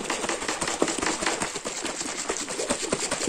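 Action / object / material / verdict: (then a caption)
shake / plastic shaker bottle with liquid / plastic / none. A hand vigorously shakes a tall, closed, clear plastic shaker bottle with red, white and blue stripes and a blue screw lid, holding meal-replacement powder, likely mixed with liquid. The result is a fast, continuous rattling clatter of sharp, bright knocks with almost no low end.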